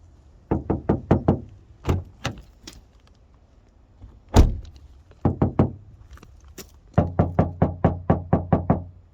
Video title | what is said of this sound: Suzuki Swace 1.8 Hybrid 2WD E-CVT 122 Premium Plus TEST Swace tańszy niż Corolla? | posłuchajcie, jaki pusty dźwięk wydają drzwi. No słychać, jakby tam nic nie było